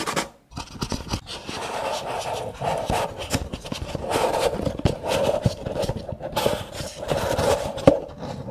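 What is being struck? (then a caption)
Nested paper cups. Fingernails scratch the rims of a stack of nested brown kraft paper cups, making a continuous dry, raspy scraping with a hollow mid-pitched hum and quick ticking catches. Near the end, some of the cups are slid apart.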